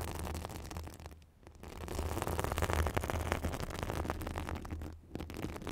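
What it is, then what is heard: Synthetic bath sponge being scratched. A soft, hand-sized, white fibrous synthetic bath sponge is held in front of a microphone and scratched with long matte black acrylic nails. Dense, crackly rustling and scratching rides over a heavy low rumble. It briefly drops away near the 1.3 and 5-second marks before resuming.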